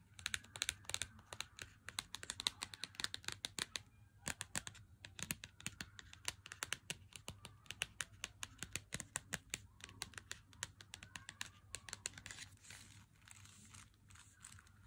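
Fingertips tap the front of a Lindt 90% chocolate bar in its cardboard sleeve, first held in the hand and then set down on a table. Dozens of quick, dry, bright taps come in fast uneven bursts, each dying away almost instantly over a faint steady low hum.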